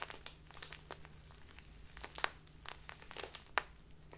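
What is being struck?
Small plastic bag of loose tea.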